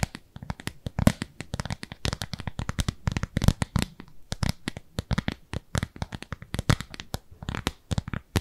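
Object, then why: Thin frosted plastic lid. Long nails rapidly tap and scratch across a thin, translucent frosted plastic round lid held in both hands. The result is a dense, irregular stream of short, dry clicks and scrapes with almost no ring, steady for the whole clip.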